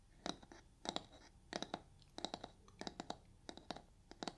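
Long nails scratch the surface of a soft, porous yellow foam kitchen sponge with a brown scouring layer. The scratching comes in short clusters of quick, crisp scrapes with a bright, rasping texture, separated by brief quiet gaps over a faint background hiss.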